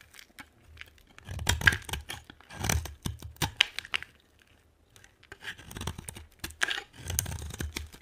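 A utility knife blade scrapes and cuts a solid, dry, brown translucent bar of soap held in the hand. Short bursts of crisp, dry rasping and crunching shave the soap, with a faint low thump under each stroke and a quiet pause midway before the scraping resumes.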